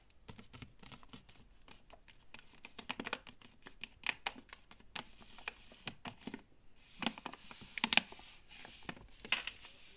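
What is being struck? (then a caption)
Laminated plastic-foil pet food bag. Long nails tap and scratch a large, apparently filled Royal Canin dry pet food bag made of laminated plastic-foil, held against a shelf. Quiet, rapid, dry clicks mix with bright crinkly scratching, with a few sharper taps standing out. Each sound stops at once with no ring.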